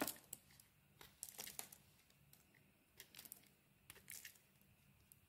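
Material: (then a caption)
Soap. A metal blade carves flakes off a solid bar of soap with a dark teal coating and a cream-colored inside. It makes quiet, crisp scraping and crackling bursts, bright and papery like tearing, that come in short clusters with brief silences between them.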